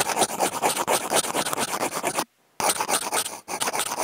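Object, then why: Corrugated cardboard sheet scraped with wooden toothpicks. Two wooden toothpicks with clipped-on contact mics scratch and rub across a flat brown corrugated cardboard sheet, their tips crossing. The result is a dense run of quick, dry, bright rasping strokes with almost no low end. A short silence falls just after two seconds, then the scratching picks back up.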